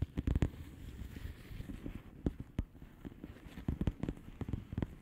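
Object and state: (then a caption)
Plastic bubble wrap envelope. Long polished fingernails tap on a flat blue plastic bubble wrap envelope, giving short, soft, dull taps that die away almost at once. The irregular taps come in quick clusters separated by brief pauses, with their weight mostly low and muffled over a quiet, faintly crackly background.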